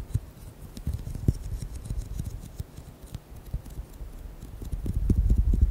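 Fingernails tap and squeeze a hand-sized orange squishy rubber ball filled with beads, making quick, irregular, dull low-pitched taps with faint bright clicking edges. The taps fade fast, and toward the end the squeezing grows louder into a denser, muffled low squish.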